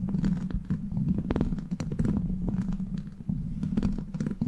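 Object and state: Metal mesh microphone grille.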